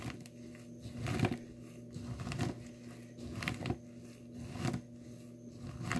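Dry blue soap chips in a small clear plastic tub are pressed and ground with the glass bottom of a nail polish bottle. Gritty crunching and crinkling swells up in repeated, uneven grinding strokes over a low, steady hum, then eases back between strokes. The chips are crushed under the glass.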